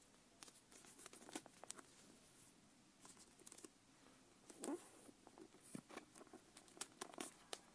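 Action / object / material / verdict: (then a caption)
tap / leather-covered notebook / leather / none. Long nails tap and scratch the cover of a closed brown leather notebook with a strap, held in the hands. Quiet, dry, sharp clicks come in irregular bursts with brief scratchy rasps between them, each tap dying away almost at once.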